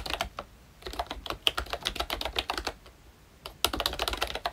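Fingertips of both hands type continuously on a full-size ROYCHE Disney Mickey Mouse-themed retro membrane keyboard with round plastic keycaps. Quick, dry, bright plastic clicks and taps come in rapid bursts, with a brief lull in the middle before the typing picks up again.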